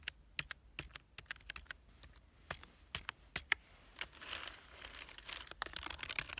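One hand types rapidly with its fingertips on a black plastic full-size keyboard with a hollow body. Its keys give short, sharp, bright clicks in an uneven rhythm, and a softer, hissy stretch of rapid tapping fills the middle of the clip.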